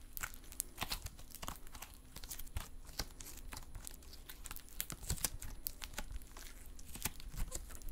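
A folded lump of silver metallic stress putty is held in both hands while fingers squeeze, poke and stretch it. The result is a steady run of sharp, bright sticky pops, clicks and tearing crackles over a soft low rumble.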